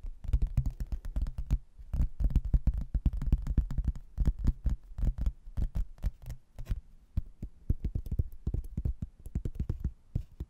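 Fingernails tap and scratch the glossy face of a thin laminated, cork-backed hardboard placemat held close to the mic. Quick, dull taps land in dense runs with brief pauses, each one a short, low, muffled knock with almost no bright edge. Each tap dies away almost at once.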